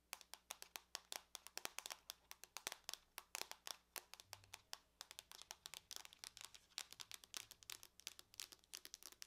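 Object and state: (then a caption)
Aluminum laptop lid. Long nails on both hands tap fast on the lid of a closed silver aluminum laptop, making about 60 quick, sharp clicks. The clicks are bright and dry, with almost no low end and a very short ring, over a faint low hum.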